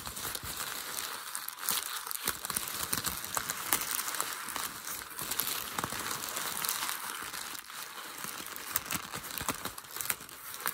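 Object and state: Crumpled packing paper.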